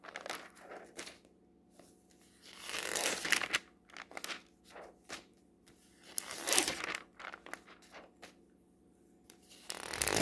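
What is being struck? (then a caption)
Glossy paper catalog. Fingertips resting on a glossy paper clothing catalog that lies open on a table turn its pages. The crinkling, papery swishes come in irregular bursts, with louder, brighter sweeps as each page is flipped, and soft rustles and light taps in between.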